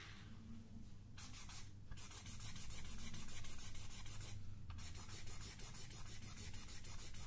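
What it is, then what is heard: Paper sketchpad. Long dark-painted nails and fingertips scratch and rub across the page of a large spiral paper sketchpad, a solid stack of sheets held upright in the other hand. Quick, fairly steady papery strokes make a bright, dry rasping texture over a low rumble, pausing briefly twice before resuming.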